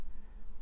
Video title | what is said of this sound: Silver Stacking Questions: How Do I Know My Silver is Real? | it's a different ping but it still has that same resonating sound